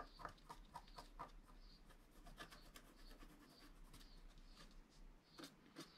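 A wooden stylus finely scratches a flat scratch-art card of black wax-coated paper lying on a cloth-covered table, while the other hand holds the sheet. Quick, quiet raspy strokes with a faint squeaky tone come first, then settle into steadier, softer scratching with bright high-pitched streaks over a low steady hum.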